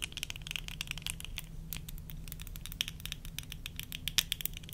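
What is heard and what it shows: Long nails tap on worn tortoiseshell plastic eyeglass frames with lenses, making a quick patter of light, dry clicks. The clicks are bright and very short, with almost no ring, over a faint low hum. The pace is uneven, with a few louder taps standing out.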